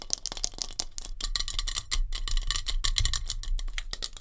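Long nails tap rapidly on a metal hairspray can. Dense, bright metallic clicks follow each other almost without pause over a steady low hum.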